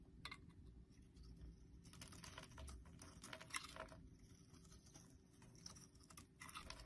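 A blade shaves and scrapes the embossed surface of a solid orange, palm-sized, star-shaped soap bar held in a hand, sending flakes falling off. Soft, dry, crisp scratching comes in dense, rapid bursts with bright, crackly edges over a faint low rumble. The sound stays quiet and close throughout.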